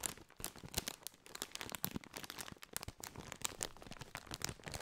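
A partly filled Doritos foil-lined, metallized plastic chip bag is crinkled and scratched with fingertips close over a microphone. A dense run of sharp, bright crackles and crunchy rustles repeats throughout, with a faint low rumble underneath.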